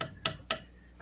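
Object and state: Thick-walled wooden turning, solid.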